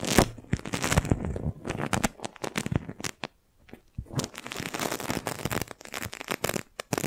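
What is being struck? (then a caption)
Thin plastic balloon bubble. A clear, thin, hollow plastic magic balloon bubble about the size of a fist rests on top of a microphone and is pressed and rubbed with the palm and fingertips of a hand with long nails. Dense, crinkly crackles and soft tearing rustles come in quick, uneven bursts with little ring. There is a brief silent gap midway before the crinkling resumes.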